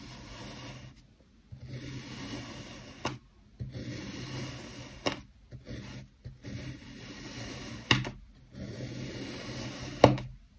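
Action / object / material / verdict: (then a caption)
scrape / kinetic sand dome cut with a steel blade / sand / none. A long steel knife blade presses and slices down repeatedly through a small solid dome of black kinetic sand set on a multicolored sand base on a white surface. Each stroke makes a soft, grainy rubbing rasp, separated by short silences, and several end in a brief, sharper tap as the blade meets the surface. The dome is left in layered slices.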